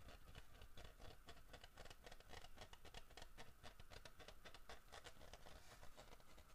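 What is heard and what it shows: Knuckles and fingernails knock and scratch the carved back of a large, solid carved wooden bear figurine. The result is a quiet, steady patter of quick, dull wooden taps with a low body, mixed with dry scratching. Each tap dies away almost immediately.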